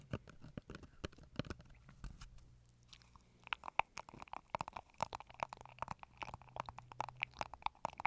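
A small hollow brown cardboard tube, like a toilet-roll tube, is held in front of a microphone and scratched and tapped with long acrylic nails. Quiet, dry, crunchy scratches give way after a brief lull to a rapid run of sharp taps with a hollow ring near 900 Hz, over a faint low hum.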